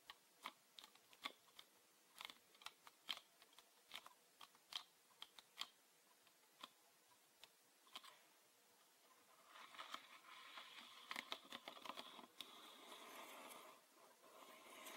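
A hand-held green PET bottle with a red plastic cap, full of liquid, is tapped with fingertips and nails, making quiet, sharp, bright clicks spaced irregularly over the first nine seconds. After that, the tapping becomes a denser, continuous scratchy texture with occasional louder clicks until the end.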